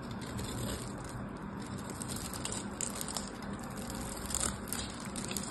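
A solid purple bar of soap, held in the fingers, has its scored surface carved with a craft knife into crumbling cubes. A steady, dense crackling and gritty scraping runs throughout, with a bright hiss on top and a low rumble beneath. A few sharper crunches stand out near the end as the cubes break away.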